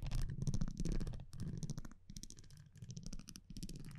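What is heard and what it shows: A metal tweezer-like tool scratches and taps across the printed front of a thin cardboard baseball trading card held in one hand. Soft, uneven bursts of low, rumbling scraping come at a quick, irregular pace, with faint bright crackles on top. Each burst dies away quickly between strokes.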